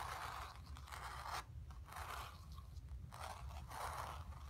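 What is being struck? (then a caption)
Acrylic-painted stretched canvas on a wooden frame. Long nails scratch the surface of a square, acrylic-painted stretched canvas on a wooden frame that is hollow behind and rests on carpet. Dry, raspy scraping strokes with a midrange hiss come in bursts, separated by short quiet gaps, over a low background rumble.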